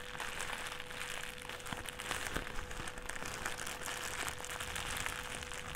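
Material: Plastic.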